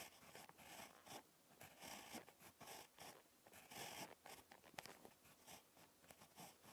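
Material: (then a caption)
Paper. A ballpoint pen tip scratches across a page of lined spiral notebook paper during handwriting. Short, bright scratchy strokes come in bursts separated by brief pauses. The sound is quiet, with little low end.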